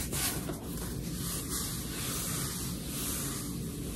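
Long red nails scratch and rub along the page edges of a closed paperback book, a solid stack of cream paper pages. A steady, dry scratching rustle continues throughout, with broad noise and a soft low rumble.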